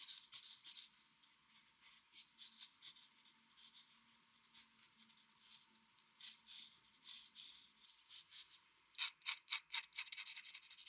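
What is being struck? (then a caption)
Paper sheet scraped with pencil graphite. A mechanical pencil's graphite scratches short hatching strokes across a flat white drawing paper sheet. The result is quiet, bright, papery scratches in irregular bursts over a faint low hum. Near the end, the strokes come quicker and louder.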